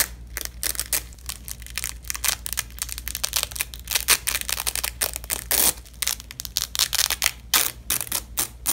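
A purple nylon hook-and-loop (velcro) strip is pinched in gloved fists and its hook and loop layers are ripped apart up close. Many short, bright crackling tearing bursts follow one another, some longer and louder. A faint steady low hum runs underneath.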